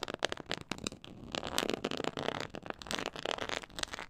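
Long acrylic nails scratch across the raised diamond texture of a black quilted faux-leather board lying flat. The result is a steady run of dry, crackly scratching with quick bright clicks and rustles, each stroke stopping short with no ring.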